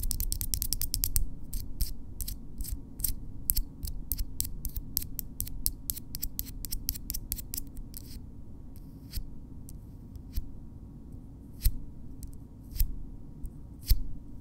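Long natural keratin fingernails on both hands are tapped and rubbed nail-on-nail up close, producing a quick run of sharp, bright clicks for about the first eight seconds. The clicks then thin out to a few isolated taps over a steady low hum.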